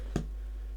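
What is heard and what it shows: A half-full glass bottle of HP brown sauce is tapped, giving one faint, low tap around 150 Hz at about 0.16 s over a steady low hum. The tap is quiet and dull with almost no high ring, since the tapping is not easy to do.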